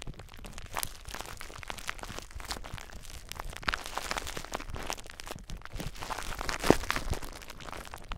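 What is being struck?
Plastic bubble wrap.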